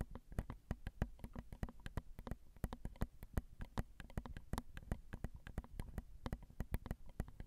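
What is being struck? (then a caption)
Metal microphone capsules of a handheld recorder tapped with long acrylic nails. Long almond-shaped acrylic nails tap quickly and steadily on the tops of a Zoom recorder's small, hollow metal X/Y microphone capsules. Dozens of short, dry clicks sound close up, each with a soft low thump and a brief bright tick that dies away almost instantly. The taps repeat in an uneven, continuous patter with no talking.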